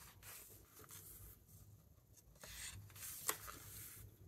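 Fingertips lift, turn and rub the matte paper pages of a large open hardcover book. Quiet, airy paper rustling and soft brushing swell and fade, with one sharp, bright crackle near the end as a page flips over.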